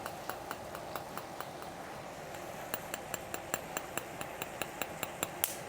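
A spoon lightly taps a second raw egg about twenty times in a steady rhythm. The short taps sound dull at first, then turn into a higher-pitched, sharper cracking once the shell cracks, leaving a cracked eggshell.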